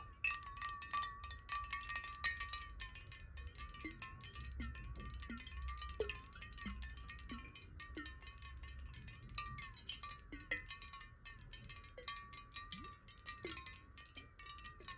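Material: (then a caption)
Glass. Long nails tap fast on a clear glass water bottle held sideways and partly filled with water. The quick, bright clicks run together over a steady glassy ringing tone whose pitch wobbles as the water shifts, with a faint low rumble underneath.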